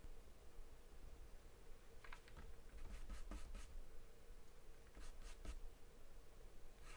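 A graphite or charcoal pencil, held in the hand, scribbles and scratches across a large white paper sheet taped flat to a dark surface, shading it. Short bursts of dry, bright scratching strokes come in clusters over a steady low hum. The recording is quiet.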